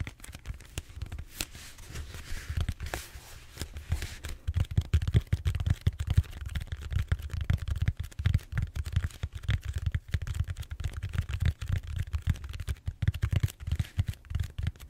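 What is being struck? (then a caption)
Foam back roller. Fingertips and short nails scratch and tap the textured surface of a large, solid purple foam back roller held horizontally. Brighter scratchy rasps in the first few seconds give way to a dense run of quick, dull, low thuds with very short decay that continue to the end.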